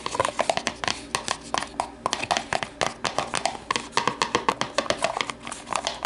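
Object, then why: Thin plastic deli container. Long nails tap and scratch the base and side of an empty, hollow, translucent plastic deli container lying on its side on a table. A quick, steady stream of short, dry clicks with a hollow plastic tone around 670 Hz mixes with bright scratching between the taps. Each tap dies away almost instantly, with little low end.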